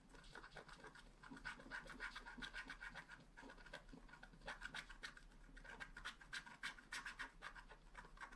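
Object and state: Scratch art card being scratched.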